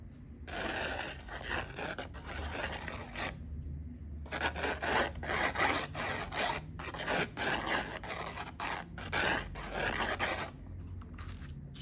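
A thin wooden stick scratches across the sandy surface of a small, flat, solid cardboard sand-art card held in one hand, its finished Peppa Pig picture made in colored sand. The result is dry, gritty raspy scraping in repeated stroke bursts, a broadband hiss reaching into bright highs with pauses between passes.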